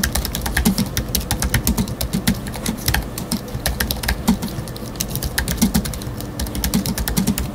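Fingertips of both hands type rapidly on a space grey Apple Magic Keyboard 2 with numeric keypad, a thin aluminium body with black plastic keys, resting on a wooden desk. A dense, steady stream of short key taps has soft low thuds under crisp, bright clicks, each dying away almost instantly.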